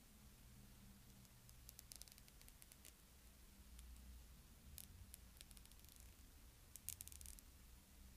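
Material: Plastic.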